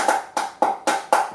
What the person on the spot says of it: it sounds like you're hitting a plastic box it doesn't sound all that inspiring however it is very strong and stiff